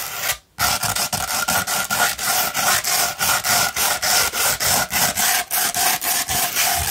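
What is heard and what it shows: A fine tan 240-grit sandpaper sheet, rolled into a hollow tube, is scratched up and down with long red nails. After a brief silence near the start, about twenty rapid, steady strokes follow, each a dry, gritty, bright rasp with a faint hollow ring from the tube.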